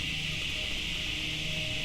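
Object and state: Nothing is struck.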